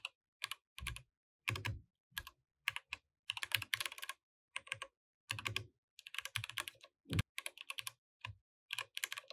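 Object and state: Plastic mechanical keyboard.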